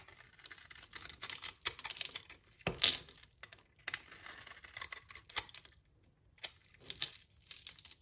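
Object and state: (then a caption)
Dry soap bar scraped with a blade. A utility knife blade scrapes crumbly flakes off a solid, translucent, brownish dry soap bar held in the hand. The sound is a series of dry, bright scraping and crackling bursts with almost no low end, separated by short pauses, with one sharper, louder scrape near the middle.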